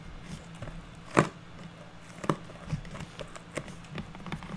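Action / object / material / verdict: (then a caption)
tap / unfinished pine wood board / pine wood / none. A square, solid, unfinished pine wood board lying on a table is tapped and scratched with long natural nails of both hands. Soft, irregular taps and faint scratching sit over a quiet low hum, with one louder sharp tap standing out near the start and a few clearer knocks after it. Each tap dies away almost at once.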